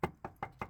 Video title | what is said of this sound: Car Care : Soundproof/Sound Deadening PT 3 : Subaru Engine Bay And Hood, Quieting Drivetrain Noise | if you tap and it sounds solid, there's no point in putting material there because it's already dampened